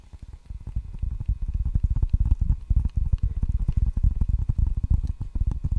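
Fingertips and nails tap and scratch the red rubber face of a solid table tennis paddle with a wooden blade. Dense, irregular, muffled low thuds follow in quick succession and fade almost instantly, with faint scratchy detail above.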